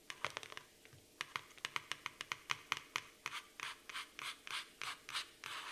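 Long nails scratch the laminated cardboard cover of a black floral hardcover notebook in strokes. Quick, sharp, bright scratches come in rapid bursts at first, then give way to longer, hissy scrape strokes with short pauses between them.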